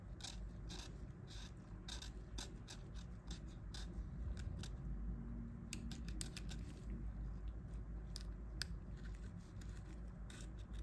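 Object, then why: Plastic mobile phone keypad and casing. A thin pointed pick scrapes along the key edges and the casing around the # key of a dirty old Nokia 1110's plastic keypad, held in purple gloves while the phone is being cleaned. Quick, irregular, crisp scratching clicks with bright edges sound over a steady low hum.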